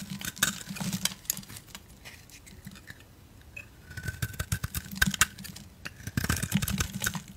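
A utility knife blade cuts and shaves an oval soap bar with a black glitter coating and a solid cream core, held in hands with long decorated nails, with other soap bars lying nearby. Dense bursts of short, crisp scraping and crackling ticks come in two busy stretches with a quieter gap between them, each tick dying away almost instantly.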